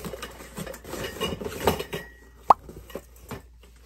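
A plastic part of a broom and dustpan set, still being unboxed, is tapped and knocked, giving a ringing, metal-like clink. Scattered rustling and light clinking come first, then one sharp, short, bright clink with a tone near 880 Hz, followed by a few faint ticks. The piece turns out to be plastic despite sounding like metal.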